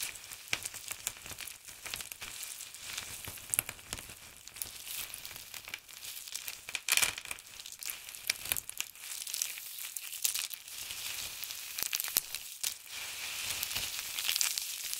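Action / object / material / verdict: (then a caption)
scrape / dried soap shavings / soap / none. Flat hands press down on a heap of crisp, dried blue and grey soap shavings while fingers with pink nails rub and crush the flakes. The result is a dense, continuous crackling and crinkling, almost entirely bright and high with a band near 2.3 kHz and almost no low end. Sharper crunchy pops stand out here and there over the steady rustle.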